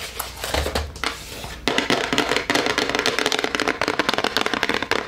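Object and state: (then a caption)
Cardboard chocolate box. A dark brown, rigid, palm-sized Harry & David "Fine Chocolates" cardboard gift box with gold lettering is held in both hands and tapped fast with long acrylic nails. Quieter, scratchy tapping gives way after about a second and a half to a dense, rapid stream of dry, bright, crackly clicks that end sharply with little ring.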